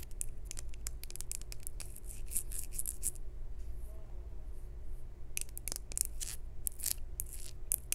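Long acrylic nails tap and scratch a small, hollow, maroon glazed ceramic jar with a textured weave pattern and a knobbed lid. Rapid bright clicks and scratchy, crisp bursts play over a steady low hum, with a quieter stretch in the middle before the tapping resumes.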